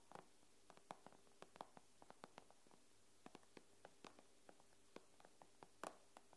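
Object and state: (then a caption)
Fingernail taps on a glass tablet screen. Fingernail tips of curled fingers tap on the glass screen of an iPad, making about twenty-two quiet, dry clicks at an uneven pace. Each tap is short and crisp with no ring, over a faint steady low hum.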